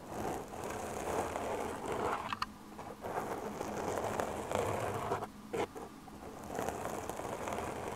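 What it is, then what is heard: Foam microphone windscreen being scratched. Long dark-painted nails on both hands scratch and tap the surface of a medium-size black foam windscreen covering a microphone. The result is a dense, crackly, rustling scratch centred in the midrange, broken by a few sharper, brighter taps and short quieter gaps.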